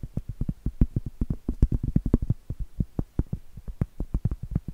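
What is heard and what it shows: Long acrylic nails tap and scratch across the flat face of a round, solid cork trivet. The result is a quick, uneven run of soft, dull, low thuds that die away almost instantly, with faint scratchy texture between the taps.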